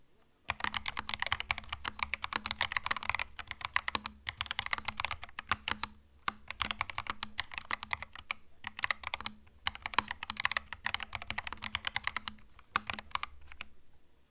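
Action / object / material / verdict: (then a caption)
tap / mechanical keyboard with plastic keycaps / plastic / none. Both hands type with their fingertips on a compact mechanical keyboard with plastic keycaps. The result is a rapid, bright, clicky clatter of keystrokes in bursts separated by brief pauses. A faint steady low hum sits underneath.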